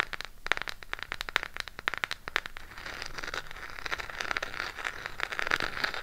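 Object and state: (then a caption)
Cardboard eyeshadow palette. A small closed burgundy Harry Potter eyeshadow palette with a cardboard case, held in the hands, is tapped and scratched with long pink acrylic nails. Quick, dry, bright clicking taps come first, then give way to a steadier crackly scratching with scattered taps over the cardboard.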